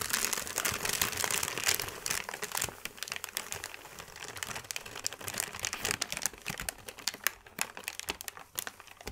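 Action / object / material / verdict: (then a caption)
scrape / thin paper sheet / paper / none. A flat, wrinkled sheet of thin white paper is scratched with the fingertips and gathered into crinkles. The result is a dense run of dry, bright crackles and rustles with many quick, irregular snaps. The sound is busiest and loudest in the first couple of seconds, then thins out a little.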